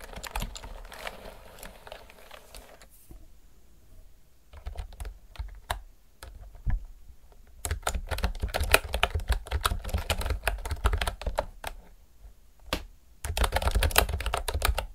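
Fingertips and nails type continuously on a retro typewriter-style mechanical keyboard with round pink and white plastic keycaps. Rapid, uneven clacking bursts with a deep thump under bright, sharp clicks are broken by short quiet pauses. Each keystroke ends almost instantly.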